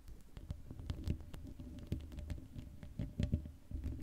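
Long acrylic nails rapidly scratch and tap the hollow black metal mesh grille of a Blue Yeti microphone, which has no cover. The result is a dense, low, thumping patter with a hum near 82 Hz, plus faint bright scratchy clicks.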